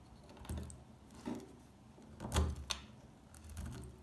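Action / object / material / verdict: scrape / bar of household soap chipped with a metal pick / soap / none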